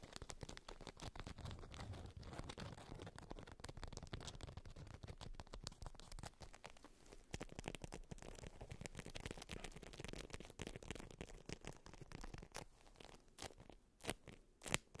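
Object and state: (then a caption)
Beeswax-coated fabric wrap. Long white nails tap and scratch both sides of a stiff, waxed polka-dot beeswax-coated fabric wrap rolled on fur. A quiet, continuous stream of rapid, dry crackly taps and scratching rustles fills the clip, with a few sharper, brighter taps standing out near the end.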